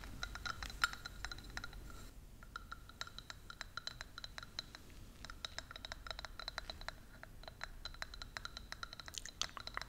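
Long nails tap rapidly on a small, hollow, clear plastic ornament ball with an angel figurine inside, held up in the air. Dozens of light, bright clicks each carry a short glassy ring near 1.4 kHz that fades almost at once, over a soft low background hiss.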